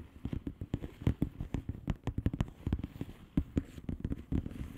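Long painted nails of both hands tap and scratch the bubbles of a blue plastic bubble wrap mailer lying flat. A quick, uneven run of soft, dull, low-pitched taps follows, each dying almost instantly, mixed with light crackly scratches.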